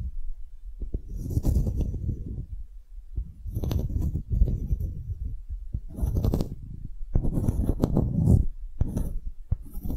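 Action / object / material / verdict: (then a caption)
scrape / engraved wooden block tag / wood / none. A solid engraved wooden block tag is scratched and tapped with nails and fingertips. Bursts of dull, low, muffled scratching alternate with quick, dry taps that die away almost instantly, and each scratch carries a faint bright edge.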